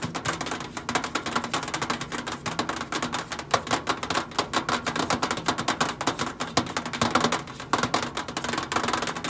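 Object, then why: Stainless steel microwave side panel. Long acrylic nails tap and scratch the flat brushed stainless steel side panel of a countertop microwave with a hollow, boxy body. A rapid, continuous stream of crisp, bright clicks and scrapes, each dying away almost at once, runs over a faint steady low hum for the whole clip.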